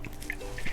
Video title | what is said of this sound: Coconuts: Part 1 | you can literally hear the water when you shake it